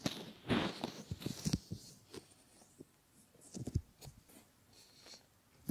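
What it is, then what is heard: Silicone ear models being rubbed. Fingers rub over a pair of solid silicone ear models and stretch the ear pad. The result is quiet, close, scratchy rubbing in uneven bursts with soft crackles, mostly low and dull with faint bright edges, ending in a louder brush.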